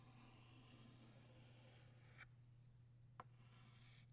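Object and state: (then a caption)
Chalk drawn across a chalkboard. A blue chalk stick held in the fingertips rubs and scratches across a large, flat black chalkboard while drawing a butterfly. A steady, dry, broadband scraping runs for about two seconds and stops abruptly. A quieter gap follows, broken by one sharp, short tap before faint scratching resumes, all over a constant low hum.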